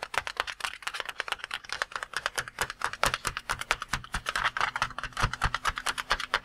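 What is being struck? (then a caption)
Water-filled latex balloon. A red and cream water-filled latex balloon, held in both hands, is rapidly tapped with the fingertips. The result is a fast, uneven stream of dozens of short, soft taps, each with a dull low thump and a brighter midrange slap that dies away almost instantly.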